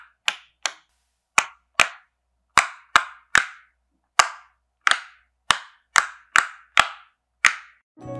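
A fingertip with a painted nail presses the hollow bubble domes of a rainbow popsicle-shaped silicone pop-it fidget toy lying flat on a white surface, popping them one by one. Fourteen short, sharp pops with bright tails ring out at an uneven pace, each dying away almost instantly. A brief low rumble follows at the very end.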